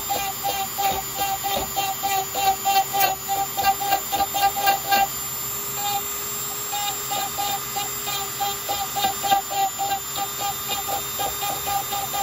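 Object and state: Nothing is struck.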